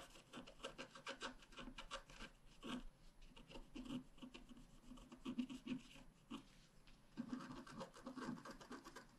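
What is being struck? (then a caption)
Black-coated scratch art paper card scratched with a wooden stylus. A wooden stylus scratches steadily across a thin, flat, black-coated scratch art card. The result is a quiet, dry, rasping scrape that comes in quick, uneven strokes, with a soft low-mid body and bright, brittle edges.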